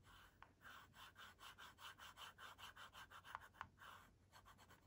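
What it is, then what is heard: Plastic LCD writing tablet scratched with stylus. A pink plastic stylus, held in a hand with long nails, scratches and draws near the edge of the dark screen of a kids' LCD writing tablet with a pink and white plastic frame. About fourteen quiet, rhythmic scratchy strokes sound in quick succession, with a few sharp clicks standing out between them.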